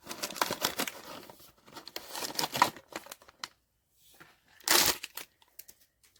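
A sealed cardboard POP MART Skullpanda "The Sound" blind box holding the vinyl figure The Terror is shaken before opening. Bursts of bright, dry rattling and rustling sound through the first three and a half seconds. After a short silence, a final loud shake is followed by a few faint taps.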